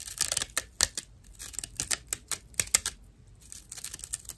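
A slice of dried natural loofah sponge fiber, held upright and flat in both hands, is scratched with long acrylic nails. The result is a quick, uneven series of dry, bright, crackly scratches with sharp, short-lived bursts and almost no low end.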